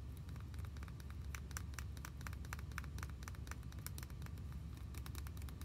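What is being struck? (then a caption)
Plastic toy pony figure. A hand-sized, white, hollow vinyl or plastic My Little Pony figure with pink hair is held and turned in the hands while long nails tap and scratch it. A steady, quiet low rumble runs underneath rapid, bright little clicks and scratchy ticks that come in quick, uneven bursts throughout.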